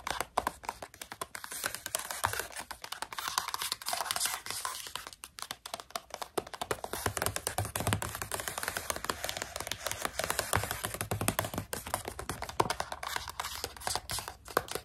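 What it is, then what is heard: Plastic snack pouch. Long pink nails tap fast on a partly full plastic pouch of coconut strips. The result is a steady 15-second stream of quick, dry, crinkly clicks with a bright, papery rustle and almost no ring after each tap.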